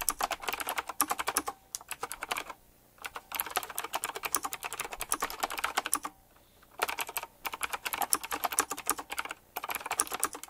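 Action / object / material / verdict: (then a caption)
tap / mechanical keyboard with round plastic keycaps / plastic / none. Fingertips type quickly on a full-size typewriter-style mechanical keyboard with round black plastic keycaps, chrome-look rims and a metallic frame. Dense runs of sharp, bright clicks come in bursts, separated by two short pauses. Each keystroke is crisp with almost no low end or ring.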